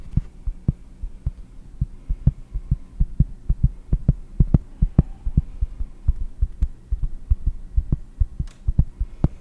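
A round, solid cork disc held in both hands is tapped with long blue nails in a quick, uneven rhythm. Each tap is a short, dull, low thump that dies almost instantly, with an occasional sharper click of the nail on top.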